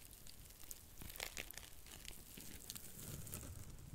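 A small, flat, porous blue dry cellulose sponge, soft and flexible, is held in both hands close to the mic while long nails scratch and squeeze it. The result is a quiet, steady run of crinkly, tearing crackles with brief bright ticks over a soft low rustle.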